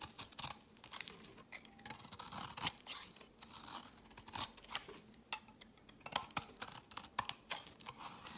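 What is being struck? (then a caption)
Solid soap bar scraped with a metal blade. A palm-sized solid white bar of soap, held in the hand, is scraped by a metal utility-knife blade that shaves flakes off its face and edge. The result is a quiet series of dry, bright scratching and crisp crunchy scrapes, with many short separate strokes and almost no low end.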